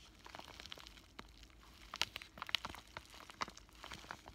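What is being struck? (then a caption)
Plastic bubble-wrap pouch. A flat pink bubble-wrap plastic zip pouch with a paper insert is squeezed and crinkled by fingertips and scratched with short nails. Soft, bright crackles and scratchy rustles come in irregular bursts, with a few sharper snaps standing out in the middle of the clip. The sound is quiet and dry, with little low end and no ringing.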